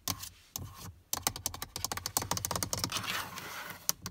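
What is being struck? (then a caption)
Plastic car door armrest switch panel. Long nails tap quickly on the black plastic rear door armrest panel of a Prius, a hollow moulded part with a window switch and silver trim. Rapid, bright, dry clicks come in uneven bursts, each dying out almost instantly with little low end beneath them.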